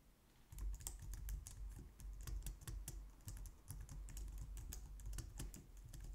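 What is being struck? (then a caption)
Plastic computer keyboard. Both hands type quickly on a white plastic low-profile wireless keyboard, striking the keys with long nails and fingertips. A steady, uneven stream of short, bright plastic clicks sits over a soft low thump, and each tap dies away almost at once.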